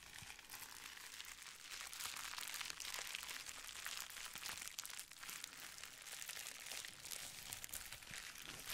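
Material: Plastic.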